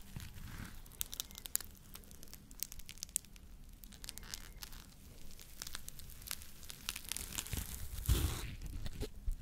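A yellow and pink smiley-face foam scrub sponge is held in one hand while fingertips scratch and squeeze its pink scouring side. Dry, crackling scratches and quick bright ticks sound over a soft low rumble. Near the end, a firmer squeeze brings a louder crunching burst.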